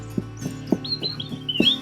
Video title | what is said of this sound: September Garden Tour 2020: Moving Plants, Harvesting Squash & Garden Planning | if you carefully lift them and you tap them they sound hollow